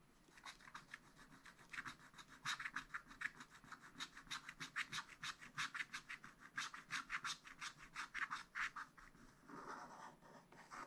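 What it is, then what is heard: Scratch-art paper being scratched. A wooden stylus scratches lines into the black coating of a spiral-bound scratch-art paper pad, working on an ornament shape. Quick, dry, rhythmic scratching strokes with a bright rasp come in steady bursts. Near the end they blur into a longer continuous scrape.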